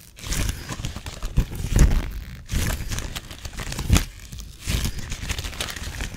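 A thin blue nitrile glove, held loose in the hands and not worn, is crumpled, crinkled and rubbed between the fingers and fingertips. Dense, irregular crackling and rustling comes in uneven bursts, with soft low thumps under bright crinkles.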